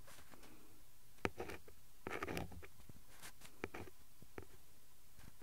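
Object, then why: Printed cardboard card tapped and scratched with a pen tip. A ballpoint pen tip traces and taps across the printed cardboard backing card of a glue stick blister pack lying flat on cloth. Soft, dry taps and brief scratchy strokes are heard, with a short burst of scraping near the middle. The sounds are quiet and muffled, and each stops almost at once.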